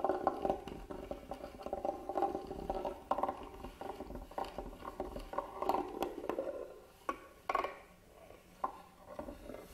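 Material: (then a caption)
Wood. A small black tool scratches across the carved lid and front side of a hollow, hand-carved wooden box. It makes a dense run of short, dry scratching and tapping clicks, mostly in the mid range around 800 Hz. Toward the end the scratching thins into a few sharper isolated taps.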